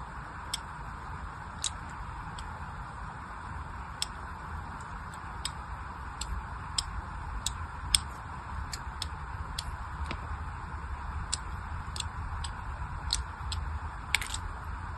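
A blade scores a grid into the face of a solid orange bar of soap held in the hand. It makes a steady series of short, crisp, bright scratching ticks over a soft, constant low hiss.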